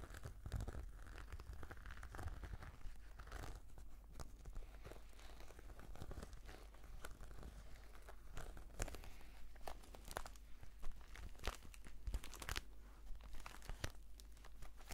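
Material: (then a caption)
Faux leather. Long nails scratch across a black, glossy, croc-embossed patent faux-leather brush case. The result is quiet, crinkly, tearing-like scrapes in short, bright bursts over a steady low hum.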